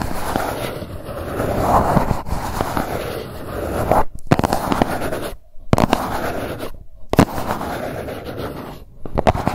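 A grey GUCCI cardboard gift box, held in both hands, is scratched and tapped across its surface with long nails. The sound is a steady dry, crackly scratching with sharp taps scattered through it, broken by a few brief silent gaps.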